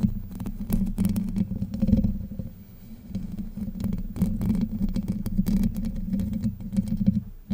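Long white nails scratch across the hollow domed steel mesh grille of a Blue Yeti microphone, producing a continuous low, rumbling scrape with a steady hum-like tone near 210 Hz. Frequent brief crackling ticks flash up into the high range as the nails catch the mesh, and the level swells and dips throughout.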